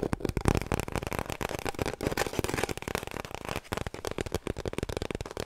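Long nails scratch along the surface of an empty, hollow cardboard kitchen roll tube held horizontally. The result is a fast, dense run of dry scratching and tapping bursts with a hollow, low body resonance.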